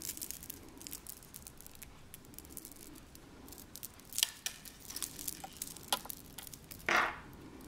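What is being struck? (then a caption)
Metal chain-link bracelet with glass or acrylic drops. A chunky silver-tone chain-link bracelet with clear glass or acrylic crystal drops is turned and jiggled in the hands. Its links and drops give off a steady run of quiet, bright clinks and rattles, with sharper chimes near the middle. A louder, brief jangle comes near the end.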